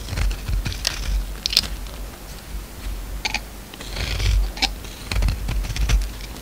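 A utility knife blade scrapes and shaves flakes off a solid orange bar of soap with remnants of black coating, held in one hand. Dry, crisp scraping strokes come in uneven bursts with a bright, hissy edge over a low rumble, each one dying away almost instantly.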